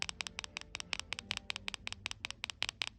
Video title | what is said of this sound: Mercedes - A closer look at the infamous idle speed control / air valve ISCV and it’s internal parts | that's the knock knock noise